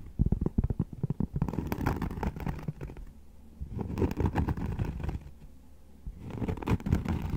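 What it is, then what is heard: Cork being tapped and scratched. Cork being tapped and scratched produces dull, low, irregular taps mixed with soft scraping in bursts, separated by quieter pauses.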